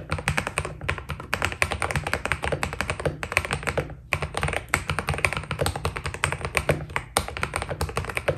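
A white Keydous NJ80 mechanical keyboard with PBT keycaps is typed on quickly with the fingertips, producing a dense, continuous stream of short, crisp clacks with bright tops. A steady low rumble runs underneath, and the typing briefly pauses around the four-second mark and again near seven seconds.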